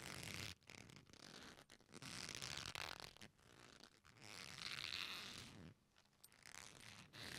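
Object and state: Leather belt.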